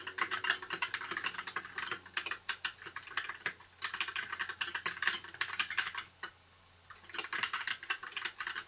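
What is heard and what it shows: Fingertips of both hands type continuously on a compact white mechanical keyboard with backlit plastic keycaps. The result is a rapid stream of bright, short plastic clacks and taps that break off briefly near the six-second mark before the typing resumes.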